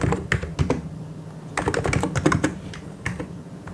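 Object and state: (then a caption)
Plastic mechanical keyboard being typed on. A full-size white and grey plastic mechanical keyboard is typed on quickly with both hands, the fingertips striking the keycaps. Bursts of sharp, clicky keystrokes come in uneven clusters over a low hum, with a busy flurry in the middle of the clip.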